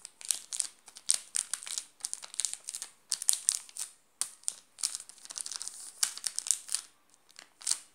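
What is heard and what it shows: A flat hand presses and rubs a sealed, full Garoto chocolate bar in a shiny yellow plastic wrapper. Rapid bursts of bright, crisp crinkling rise and fall with brief pauses between them. The result is a thin, high-pitched rustle with almost no low end.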